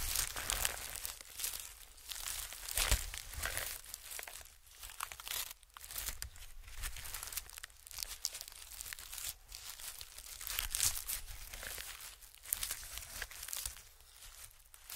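White honeycomb-cut packing paper lies flat while the fingertips of both hands rub and scratch across it. The result is a steady, bright, crinkling and scratching rustle that swells and fades in soft waves, over a faint low hum.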